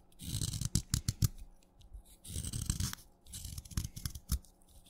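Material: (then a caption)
Chalk. A craft knife blade scrapes along the side of a solid wet red chalk stick, shaving flakes off it. Three bursts of gritty scraping are heard, with bright rasping hiss over dull low thuds and a few sharp strokes standing out.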